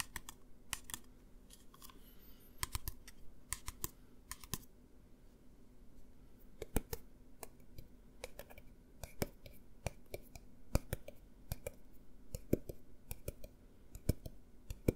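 A clear plastic pump bottle of hand gel with an orange label, partly filled with gel, is held upright and then sideways while fingernails tap on the plastic and the label. The result is a quick, irregular run of short, sharp clicks and taps with bright transients over a soft low hum.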